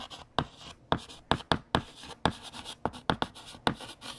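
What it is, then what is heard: Chalk writing on a chalkboard. A hand writes on a large, flat, solid black chalkboard with a yellow chalk stick, making dense scratching strokes punctuated by about a dozen sharp, short tapping hits. Each tap is bright and clicky with almost no ring, and softer scraping fills the gaps between them.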